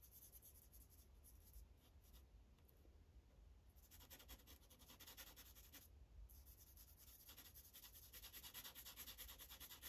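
The felt tip of a blue Sharpie marker, held in the fingers, rubs back and forth over a thin printed paper coloring page on a white clipboard. The coloring strokes make soft, bright, scratchy swishes in a quick, uneven rhythm. A low hum runs underneath, and the strokes grow denser and louder toward the end.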